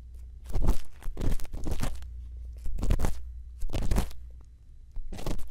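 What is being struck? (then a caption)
Silicone ear microphone scraped by a bamboo earpick. A thin bamboo earpick scrapes inside the ear canal of a white silicone ear microphone, producing close, crunchy scraping bursts that come in irregular clusters over a constant low rumble. Each bursts is broadband, reaching from deep lows up into bright highs, with short quieter gaps between them.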